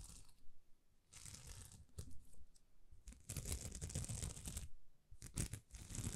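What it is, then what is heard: Plastic rhinestone sticker sheet. Long nails scratch and rub across a thin, flexible sticker sheet of small plastic rhinestones. The sound comes in uneven bursts of dry, tearing crinkles and crunches with a bright, hissy top and a soft low rumble underneath. It grows denser and louder in the second half before breaking into a few short scratchy strokes.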